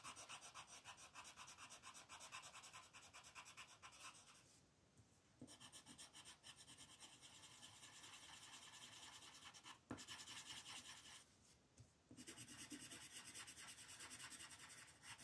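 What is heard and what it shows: A dark green wooden colored pencil shades the outer petals of a printed mandala on a flat white paper sheet resting on a table. It makes rapid, bright, scratchy rubbing strokes with a papery hiss. The shading stops twice in short pauses, then resumes.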